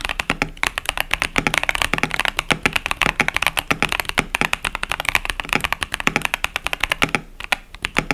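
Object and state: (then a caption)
Plastic mechanical keyboard. Both hands type continuously with their fingertips on a compact KBD67 Lite mechanical keyboard with a plastic case, cherry-profile plastic keycaps and Boba U4T tactile switches. The result is a steady stream of rapid, crisp keystrokes, each a short, bright clack that dies almost instantly, with little low-end thump.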